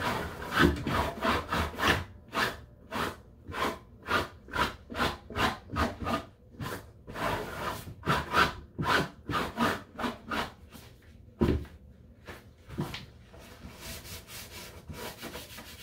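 Gloved hands in blue rubber gloves wipe and rub the top and sides of a small white hollow plastic step stool standing on a tile floor with a cloth. Quick, rhythmic back-and-forth scrubbing strokes make bright, airy swishes over a low hollow rumble, with a couple of duller knocks near the end as the rubbing softens into a quieter, steady scrub.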